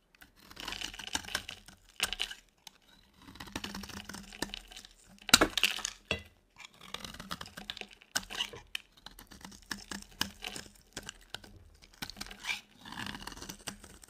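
A solid rectangular white soap bar with embossed text, dry and held in one hand, is scraped and shaved with a utility knife blade. Bursts of crisp, bright scratching and crackling come in short passes separated by brief pauses, with sharp ticks as the blade catches. Flakes of soap fall off the bar.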